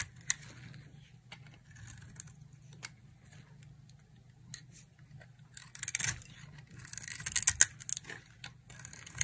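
A solid oval purple bar of dry soap held in the palm is carved with a utility knife blade, shaving off purple flakes. Soft, bright scraping and crisp cutting strokes sound over a steady low hum, growing denser and louder toward the end.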